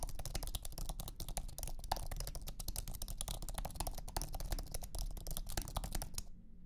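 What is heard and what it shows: Fingertips type steadily on a thin, low-profile iMac keyboard with an aluminum base and white plastic scissor keys. The result is a rapid stream of short, dry, clicky taps over a low, muffled body, and the typing stops just before the end.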